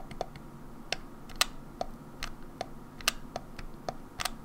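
Long nails tap and scratch the rear shell and grips of a grey, hollow plastic Nintendo 64 controller turned over onto its back. Twelve short, dry clicks sound over a faint low hiss, each a bright, sharp tick that dies away almost instantly.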